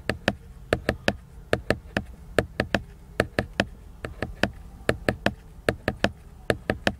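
Fingertips tap and knock on the cover of a large, solid, flat laminated cardboard hardcover book with a glossy finish. They land 26 short, dry knocks in an uneven, often paired rhythm, each with a hollow mid-pitched body and a bright click that dies away almost at once. A faint low buzzing hum runs underneath.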